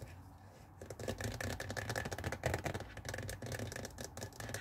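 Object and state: Plastic garment steamer water tank.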